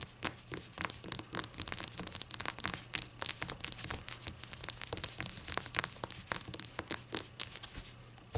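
A glass shot glass is tapped and fidgeted with, giving a rapid, irregular run of bright, short clinks that die away almost at once. The taps are crisp and high-pitched with little low end, and some light scraping and handling sounds fall between them.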